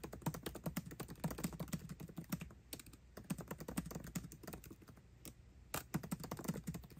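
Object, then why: Laptop keyboard with plastic keycaps in an aluminium body. Fingertips type fast on a MacBook Pro keyboard with plastic keycaps set in an aluminum body. The result is a rapid stream of short, dull, low-weighted key clicks that stop almost instantly. The bursts are broken by brief lulls around the third and fifth seconds.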